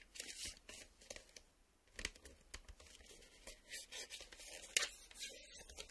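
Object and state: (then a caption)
Plastic video cassette scraped. The plastic surface of a VHS video cassette is scraped and tapped, giving bursts of dry, bright scratching with sharp clicks. The sound is quiet and close, concentrated in the high frequencies with almost no low end.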